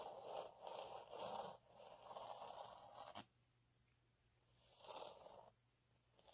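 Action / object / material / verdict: scrape / fine glitter sheet / glitter sheet / none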